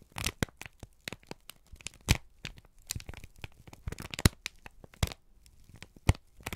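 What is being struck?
Thin kraft paper sheet.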